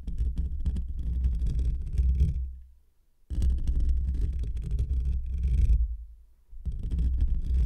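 Short fingernails and fingertips of both hands scratch a hollow metal wire-mesh microphone grille. It makes a deep, boomy rumbling scrape with a faint bright crackle on top, heard in three long bursts separated by two near-silent pauses.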